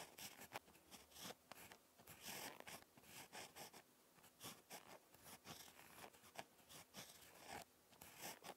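A ballpoint pen tip scratches across lined spiral notebook paper while handwriting. Quiet, dry strokes come in quick uneven bursts, bright and high with little low end, separated by short pauses as the pen lifts.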